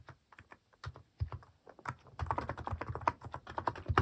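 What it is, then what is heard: Plastic mechanical keyboard. Fingertips type on a white-case plastic mechanical keyboard fitted with pastel plastic cat-shaped keycaps. A quick, uneven stream of short, dull clacks with a low thump beneath each press grows denser and louder toward the end.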